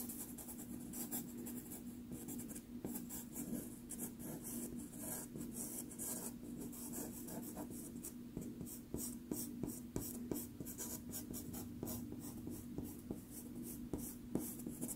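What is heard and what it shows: A wooden-cased blue pastel pencil, held in the fingers, scratches and strokes across a small 4.5-inch square of sanded Pastelmat paper, a solid thin sheet taped flat to a board, while drawing. The result is a quiet, continuous, bright scratching. A steady low tone hums underneath, and from about halfway on, sharper quick strokes stand out.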